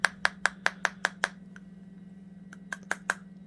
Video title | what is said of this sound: Mag-Lite USA LED Classic "3D" Flashlight Review | That sounds like plastic.